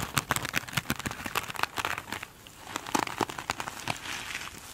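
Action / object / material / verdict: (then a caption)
scrape / glitter-coated foam sponge / foam / none. Long acrylic nails scratch across a soft, slightly squeezed foam sponge with a glitter-textured surface, making rapid, dry, crinkly scratching and crackling ticks with a bright hiss. The scratching eases briefly in the middle, then resumes as a steadier, softer rustle with sharp flicks.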